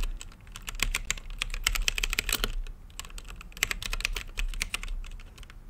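Fingertips type continuously on a plastic mechanical keyboard with plastic keycaps on a translucent acrylic case. Quick bursts of short, bright, clacky keystrokes come in uneven flurries, each tap dying away instantly over a faint low rumble.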